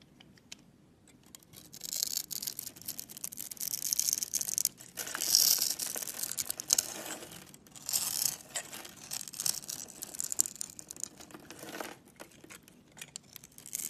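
A utility-knife blade scrapes and carves a grid into the surface of a solid, palm-sized orange Camay bar soap held in the hand, shaving off small soap curls. The sound is a string of dry, bright scratching and scraping bursts with almost no low end, rising and falling in intensity between short pauses. The bar ends smoothed with a cut mark.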